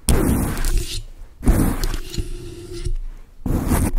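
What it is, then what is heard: Foam microphone windscreen being scratched. Long acrylic nails scratch quickly across a large dark grey foam windscreen on a microphone, producing a dense, rumbling, low-heavy scraping texture. It comes in three bursts, with brief dips between them.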